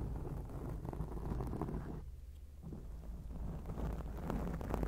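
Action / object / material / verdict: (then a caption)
scrape / foam microphone windscreen / foam / none. Long acrylic nails scratch a black foam microphone windscreen, producing a dense, muffled rumble concentrated in the low end with soft, irregular brushing scrapes. Just past the two-second mark, the scratching briefly quiets and thins out, then builds back to a steady, slightly louder rustle.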